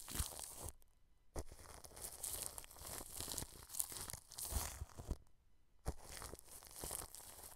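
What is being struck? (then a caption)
Plastic cling film stretched over a microphone. A wide flat paintbrush brushes across clear plastic cling film wrapped over a microphone head. The result is close, crinkly rustling and scratchy strokes with bright hiss and low thumps, broken by two brief silent pauses.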